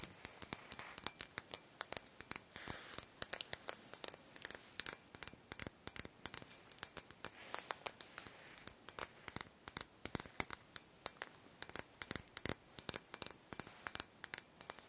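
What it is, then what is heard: Glass bottle tapped with fingernails. A small, capped green glass cider bottle that appears full is held in both hands and tapped and scratched on its glass body with long nails. Dozens of quick, bright clinks with very short ringing sound in an uneven rhythm, mixed with faint scraping between taps.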